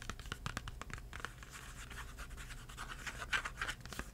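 Fingertips scratch and tap the front and edge of a small Crayola cardboard crayon box with crayons inside. Quick, dry taps and scratches come in an uneven run over a steady low rumble, with bright papery scratching between the sharper taps.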